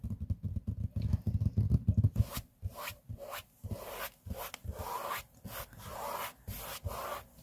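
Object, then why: Laminate tabletop. Index fingertips and short nails rub and scratch a large, flat, solid grey laminate tabletop. The first two seconds are dense, low, thumping rubs, followed by separate bursts of dry, bright scratching strokes with short pauses between them.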